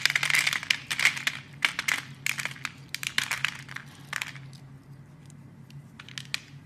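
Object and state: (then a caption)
Bar of soap being carved. A blade scores a grid into a solid yellow oval soap bar and cuts off small cubes, making dense, bright crisp crackles and scraping crunches. The busy cutting in the first four seconds thins out to a few sharp, separate clicks over a quiet hiss near the end.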